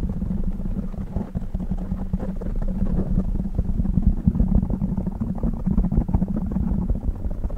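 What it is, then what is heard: Foam microphone windscreen being rubbed. Fingertips rub, squeeze and scratch a black foam windscreen on a silver microphone from both sides and the top. The result is a dense, continuous low rumble of muffled crackles with a boomy tone near 190 Hz and almost no high content.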